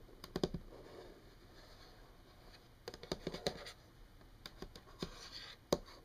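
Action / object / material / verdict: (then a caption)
tap / wood-grain tabletop tapped with fingernails / wood laminate / none. Long painted fingernails of both hands tap a flat, solid wood-grain desk surface (possibly laminate), giving short, dry, clicky taps in quick clusters. Soft scratching noise fills the gaps between the groups of taps, and each tap dies away almost instantly.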